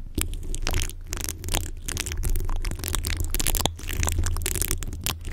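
Fingertips and short nails of both hands scratch and rub the bare, rounded, hollow metal mesh grille of a large condenser microphone. The result is a dense, continuous crackling scrape full of sharp, bright ticks, carried on a heavy, boomy low rumble that swells and dips throughout.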